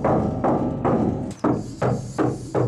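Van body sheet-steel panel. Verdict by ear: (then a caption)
Undamped. Knocking on the bare, undamped sheet-metal inside panels of a Ford Transit van before sound deadening is applied produces seven hollow, drum-like thumps. Each knock has a low-mid boom and a short ring that carries between hits. The bare steel panels act like a drum and echo noise through the van body.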